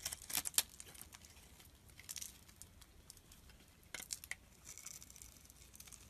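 A solid red bar of soap held in the palm is shaved with a metal blade, making quiet, bright scraping and crinkling sounds. The scrapes come in short bursts with pauses between them, each dying away almost instantly, with little low-end body.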